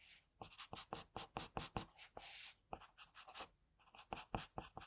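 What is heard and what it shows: An HB wooden pencil held in a hand draws short strokes across a flat sheet of white drawing paper, its graphite tip scratching the surface. A rapid series of quiet, dry, bright scratches is heard, with one longer sustained stroke in the middle. Brief pauses separate the groups of strokes.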